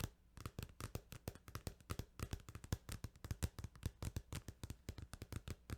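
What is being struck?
Plastic video game case.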